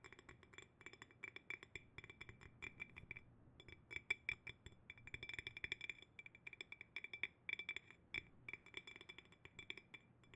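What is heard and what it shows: A clear, empty, medium-sized hollow glass jar, held upside down on its bamboo lid, is tapped on the glass with fingernails. Quick, irregular bursts of bright, clicky clinks with a ringing tone around 2.3 kHz die away almost instantly, pausing briefly near the three-second mark before the tapping resumes.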